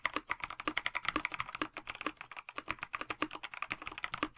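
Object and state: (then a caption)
Mechanical keyboard typing. Both hands type steadily with their fingertips on a KBD67 Lite 65% mechanical keyboard with a plastic case, translucent backlit PBT keycaps and stock Dinokey Mint linear switches, resting on a desk mat. The result is a quick, continuous patter of dozens of crisp, bright taps centred around 1 to 2 kHz, with almost no low end. Each tap dies away instantly.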